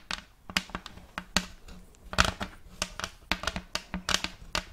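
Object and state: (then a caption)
Wooden plate. Long acrylic nails quickly tap and scratch a round checkerboard-block wooden plate held upright. About 18 sharp, dry clicks come in an uneven, rapid series, with bright scratchy rustling in between. Each tap dies away almost instantly.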